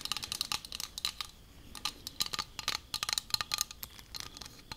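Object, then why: Plastic squeeze tube. A teal squeezable plastic lotion tube, hollow and presumably filled, is held in both hands while long acrylic nails tap and scratch across it. The result is a rapid, irregular run of bright, crisp clicks and scratchy ticks, mostly high-pitched with almost no low end. Each sound stops instantly with no ring.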